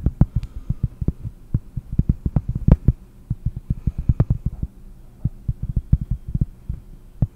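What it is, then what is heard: Cork disc tapped with fingernails. A round, flat, solid cork disc held in one hand is tapped quickly with the long fingernails of the other. The result is a fast, uneven run of dull, deep thuds that stop almost instantly, over a faint low hum.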